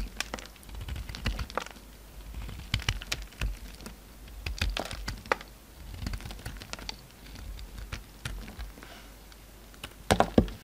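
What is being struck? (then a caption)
Bar of soap cut and scraped with a utility knife. A solid pink soap bar held in the fingers has chips repeatedly cut and scraped off it with a utility knife. Dense, crisp clicks and short scraping strokes come in bursts over a low background rumble, with a sharper cluster of cracks near the end.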